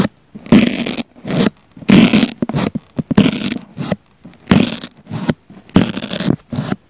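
A wooden cocktail pick with a pink flamingo topper pokes and scratches a round pink foam sponge held in one hand, with a small black mic embedded in its center. Close, scratchy rustling bursts of uneven length come in an irregular rhythm, each with a soft, low-mid body around 200 Hz and a bright, hissy top, separated by near-silent gaps.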